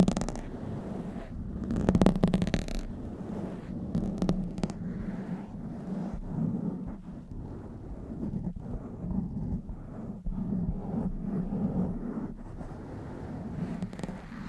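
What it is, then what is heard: Foam microphone windscreen being scratched. Long nails scratch the top and sides of a blue foam windscreen on a black microphone, then fingers grip the foam. The result is a steady, muffled, low rumbling scrape, with brief brighter crackling bursts near the start and continuous soft rustling throughout.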